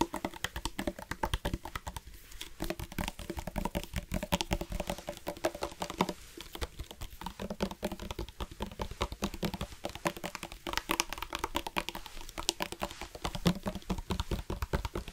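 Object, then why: Hard-plastic water bottle with water. Fingertips and nails tap rapidly on a black hard-plastic sports water bottle with a flip-top cap, hollow and partly filled with water. The result is a dense, continuous patter of short, dry clicks over a low, hollow tone around 176 Hz, with brief bright accents and almost no ring after each tap.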